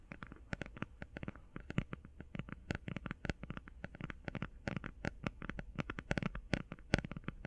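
Fingernails tap quickly along the edges and sides of a flat cardboard eyeshadow palette held edge-on. The result is a fast, uneven run of quiet, dry clicks with a soft, hollow low body and very short decay, each tap stopping almost instantly.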